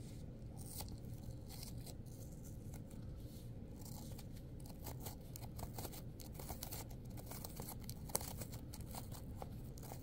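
Long pointed acrylic nails claw and tear at the flesh of a heavily torn red apple, with pieces of skin and pulp lying on a paper towel. Soft, continuous wet tearing and crunching sits low over a quiet rumble, broken by many brief bright crackles and one sharper snap near the end.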